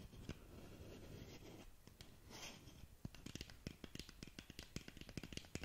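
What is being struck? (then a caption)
Cardboard box tapped with fingernails. A long, narrow black cardboard lip gloss box is held in front of a microphone while long nails work its surface. For about the first three seconds there is a soft, steady scratchy rustle. Then come a quick series of sharp, dry taps with very short decay, thudding low with a bright click on top.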